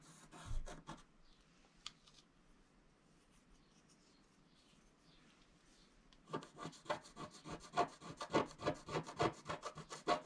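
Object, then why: Coated scratch-art sheet scratched with a wooden stylus. A wooden stylus scratches across a flat coated scratch-art sheet, making a short burst of dry, rasping strokes before a long quiet pause. It then resumes as a quick, steady run of bright scratching strokes that continues to the end.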